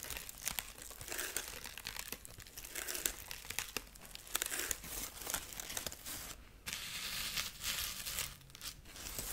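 Long nails scratch the dry husk arm and side of a dried corn husk rabbit figurine. A dense run of bright, crinkly scratching and crackling rasps on and on, with a brief quiet break near the middle before the scratching resumes.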